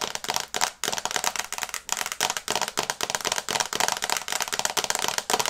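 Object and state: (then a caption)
Fingernails tapping a glass phone screen. Long nails tap quickly on the glass screen of a small, flat smartphone held in both hands in a teal and brown case. The result is a rapid, uneven stream of sharp, dry clicks that are bright and high with almost no low end, and each click stops instantly.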